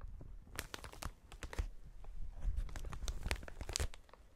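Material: Plastic.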